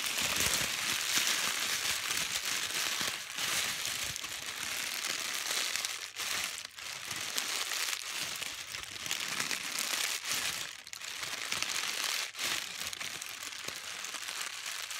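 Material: Paper.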